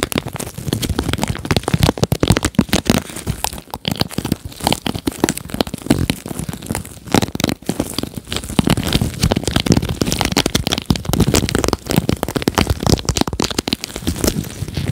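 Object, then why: Plastic paddle hairbrush bristles. Nitrile-gloved fingertips strum and scratch the rows of plastic bristles on a red plastic paddle hairbrush with gold trim, held sideways with the bristles facing out. Dense, rapid crackling clicks and crinkly scratches run steadily throughout, with short brighter flurries and a low, bodied thrum underneath.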